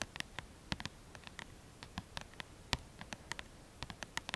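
Long lilac-painted manicured nails tap and scratch rapidly on the glossy card front cover of a mid-size paperback book, "Mon guide de Lithothérapie," which has a solid paper block and is held upright in both hands. About twenty quiet, sharp, bright clicks come in an irregular patter with a faint low thump beneath. Each one dies away almost instantly.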